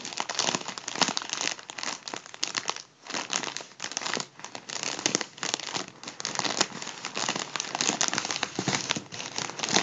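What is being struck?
Metallic foil number balloon.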